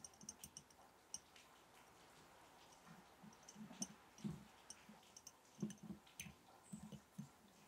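A glass mason jar holding match sticks is tapped gently and irregularly, producing a scattered series of quiet, short clicks. Each tap has a bright, glassy tick over a dull low thump and dies away almost at once, with soft rattles between the louder taps.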